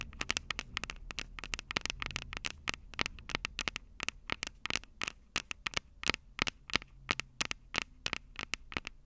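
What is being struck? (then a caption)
Metal microphone capsules of a handheld recorder. Long purple acrylic nails tap and scratch the two metal microphone capsules of a small black plastic Tascam DR-05 handheld recorder held upright. About 44 sharp, dry clicks arrive in quick, uneven bursts over a soft scratchy rustle. Each click is bright and ticking, centered around 2.3 kHz, and dies almost instantly.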